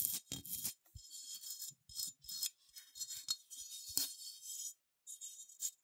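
A small cream-colored, matte, unglazed ceramic sheep figurine with a bumpy wool texture, hollow with open leg holes underneath, is held in the hand and scratched with long manicured nails. Quiet, dry, bright scratching comes in short rasping bursts and strokes, with faint low taps between them and a few brief pauses.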